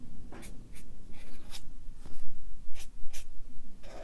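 A Sharpie marker's felt tip rubs across a stack of white paper on a clipboard as it draws and fills in fish stripes. Short, bright, scratchy strokes come in quick succession over a low steady hum.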